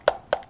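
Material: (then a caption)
Aluminum. Two sharp, dry taps on an ICS high-capacity airsoft magazine that holds 450 rounds, made of a cheaper metal like aluminum with a winding wheel on the bottom. Each tap is a brief knock centered around 590 Hz that dies away almost instantly, sounding somewhat like plastic even though the magazine is metal.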